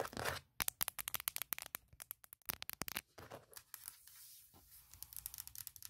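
Long nails tap and scratch the flat aluminum top case of a closed MacBook Pro laptop. A quick run of sharp, bright clicks is broken by softer, hissing scratches across the metal lid. Each tap stops almost instantly, with little low end.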